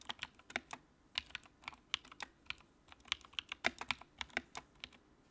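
Fingertips type on the keycaps of a compact, backlit white plastic mechanical keyboard. About twenty-two separate keystrokes are heard as crisp, bright clicks with almost no low end, each dying away almost instantly. The taps come in an uneven, quick rhythm over a quiet background.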